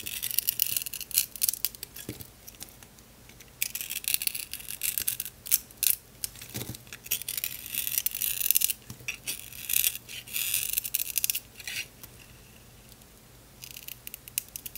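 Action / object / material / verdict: scrape / bar of soap / soap / none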